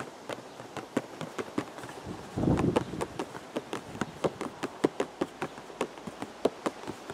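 Fingertips tap a hollow purple cardboard teacake box held close, giving about 24 short, dry, hollow taps with a mid-range tone and almost no ring. A brief low rumbling burst rises under the tapping just before the midpoint.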